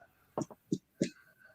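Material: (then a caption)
Bread. A few knocks on a freshly baked bread loaf to check that it is done give short, dull, hollow thuds with almost no ring. The loaf sounds hollow, meaning it is baked through.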